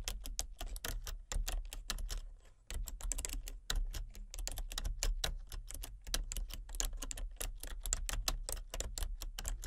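Fingertips with long painted nails type on a full-size plastic computer keyboard with a hollow body and color-changing backlit keys. A quick, steady run of short, crisp taps with bright clicky edges and a low hollow thud plays throughout, with a brief pause about a quarter of the way in.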